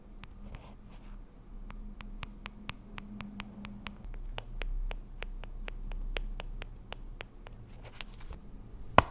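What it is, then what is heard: Plastic cushion compact. Long acrylic nails tap and scratch across the printed lid of a small, round, pink plastic cushion compact that is closed, hollow and held up. The clip is a quiet series of short, sharp, bright clicks with soft scratching between them over a low steady hum. It ends on one louder click.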